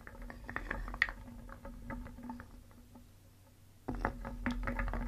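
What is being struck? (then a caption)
Small painted wooden pieces stirred in a wooden bowl. A wooden spoon scoops and stirs small, solid, painted wooden pieces in a round wooden bowl, so the pieces rattle and clack together in quick, irregular clicks over a steady low hum. The clatter thins to a quiet lull around the middle, then picks back up more loudly toward the end.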